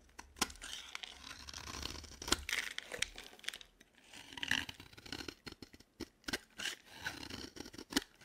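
A utility knife blade carves and scrapes a dry, green solid bar of soap as shavings fall away. The result is a quiet run of dry, bright scraping and crisp crunchy cuts, punctuated by sharp, short snaps that stop almost instantly.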